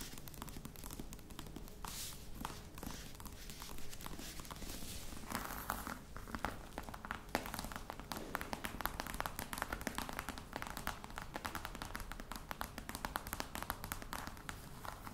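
Long nails tap quickly on the lid of a hollow, black croc-embossed faux leather box, making a dense, steady stream of short, dry clicks. The taps are quiet, with a soft, hollow low body, very little ring, and brief bright scratchy bursts between them.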